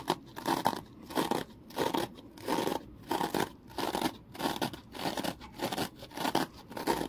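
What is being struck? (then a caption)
Foam kitchen sponge with scouring layer. A small, porous, rectangular foam kitchen sponge with a scouring layer is held in the hand and scratched and squeezed with the fingertips. Bursts of dry, crackling scratching come in a steady but uneven rhythm, centred in the mids with some bright crispness, and each burst stops abruptly into near silence.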